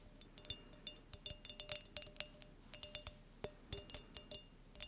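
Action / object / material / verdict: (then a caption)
tap / small clear glass light bulb / glass / none. Long nails tap a small, hollow, clear glass halogen light bulb close to the microphone. The result is a quiet, irregular run of bright, high-pitched glassy clicks and clinks that die away almost instantly.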